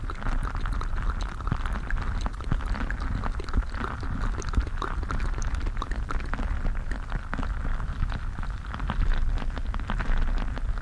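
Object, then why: Stress ball of water gel beads in a mesh rubber skin. A full, palm-sized squishy stress ball packed with colorful water gel beads inside a mesh and rubber skin is squeezed and rubbed with fingers right against the microphone. The result is a steady, deep, muffled rumbling dotted with dense wet squelches, crackles and tiny pops, holding a fairly even level throughout and growing slightly louder near the end.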